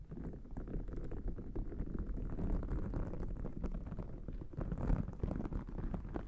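A thick, white, fluffy cotton terry cloth towel draped over a microphone is scratched and rubbed, first with small thin orange-tipped tools and then with fingertips and long nails. The result is a dense, muffled, low rumbling rustle of rapid scratching strokes that runs continuously at a fairly steady level throughout.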